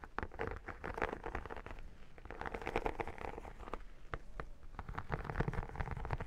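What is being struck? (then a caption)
Textured vinyl photo album cover. Long nails scratch and tap across the embossed, iridescent holographic vinyl cover of a square photo album held up in the hand. The result is a quiet, continuous run of dry crackling scrapes with fast, clicky taps, weighted toward the low end with little bright content.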